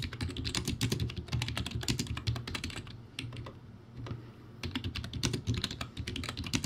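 Fingertips type rapidly on a backlit plastic typewriter-style computer keyboard with round white plastic keycaps on a plastic/metal base. Dense bursts of sharp, bright key clicks sit over a low hollow thump around 140 Hz. The typing thins out briefly in the middle before picking up again.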